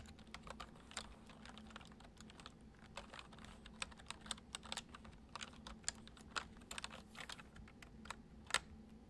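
Fingertips type slowly on a white plastic computer keyboard, producing a steady stream of soft, bright key clicks, some struck a little harder than others. Each click is short and dry, with no ring, over a faint low steady hum.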